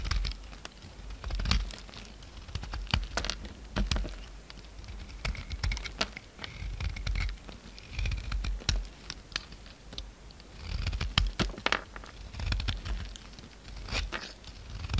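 A utility knife cuts flakes and chunks off a solid pink soap bar, producing a steady run of crisp, scratchy cutting and scraping ticks with bright edges. The snaps come in irregular bursts over a soft low rumble.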